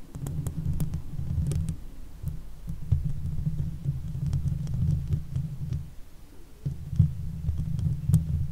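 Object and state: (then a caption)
Metal mesh microphone grille being scratched. Long fake nails on both hands scratch and stroke the hollow steel mesh grille of a silver Blue Yeti microphone. The result is a dense, low, throbbing rumble with faint, bright ticks on top. It briefly dips near two seconds and again around six seconds before resuming.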